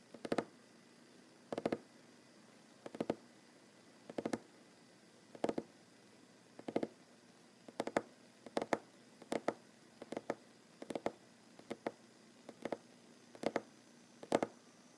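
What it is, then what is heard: Wooden table. Fingers tap on a wooden table, mostly with one hand. The quiet, dry knocks come in quick pairs and small clusters spaced across the clip, each dying away almost instantly. Their muted midrange tone sits around 550 Hz over a faint, steady background.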